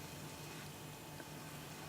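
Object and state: Nothing is struck.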